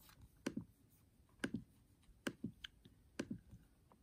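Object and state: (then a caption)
Laptop keyboard keys being tapped. Fingertips type and tap quickly across the black plastic keys of a MacBook Air keyboard set in an aluminium body. About ten soft, dry clicks fall in four quick double-tap clusters over a low, quiet background. Each click has a low-mid thump and dies away almost instantly.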